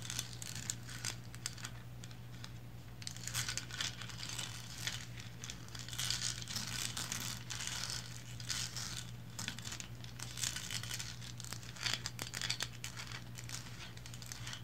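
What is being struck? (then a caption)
Small resin lighthouse figurine. Long blue nails scratch the top, body and base of a small upright painted resin lighthouse figurine. The result is a continuous, dense run of bright, crinkly scratching with many quick, closely packed strokes over a steady low hum.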